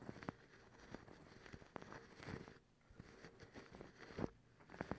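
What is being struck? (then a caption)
Cotton terry towel. Long acrylic nails on both hands scratch a white, fluffy cotton terry towel. It gives a soft, rustling, crackly scratch broken by sharp little ticks and brief quieter pauses.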